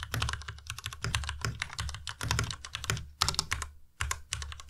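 Fingertips type steadily on a white Ducky Miya Pro tenkeyless mechanical keyboard with plastic keycaps. Rapid, clacky keystrokes have a low, thocky body and a bright, crisp top. Short pauses break the typing into bursts.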